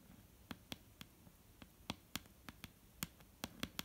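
Long painted nails of both hands tap on a solid, dark brown wooden tabletop, giving 12 quiet, irregular clicks. Each click is short and dry, with a low knock near 184 Hz and a bright tick on top, separated by near silence.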